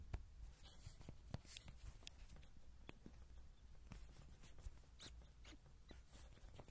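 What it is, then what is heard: Soft vinyl toy horse. Fingertips and nails tap and scratch the belly and sides of a small yellow soft-vinyl Rody horse toy, likely hollow, held in the hand with a pin microphone on top. Quiet, dull low thumps mix with short, dry, bright scratchy clicks over a steady deep low rumble. Each tap dies away almost at once.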